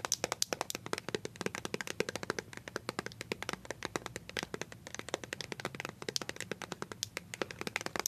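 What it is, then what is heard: Plastic squeeze tube tapped with nails. A small white plastic BB cream squeeze tube, partly hidden by a hand, is tapped rapidly with paper-clip-covered nails. The result is a fast, steady stream of sharp, dry, bright clicks with almost no ring and little low end.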